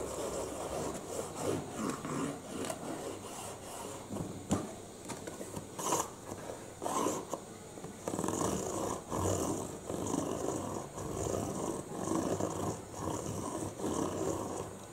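A printed, hollow, medium-size UPS cardboard box is held up while fingertips tap its green top and short nails scratch its green side panel. Soft, hollow papery taps give way to dense, bright rasping scratches that come in bursts and keep the box surface rustling throughout.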